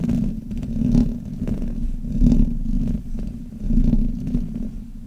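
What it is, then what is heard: Metal microphone grille rubbed. Hands grip a black Blue Yeti microphone and rub the top and sides of its hollow metal mesh grille with fingers and nails. The result is a dense, low, muffled rumbling scrape with faint clicks, swelling and fading in repeated waves with almost nothing bright on top.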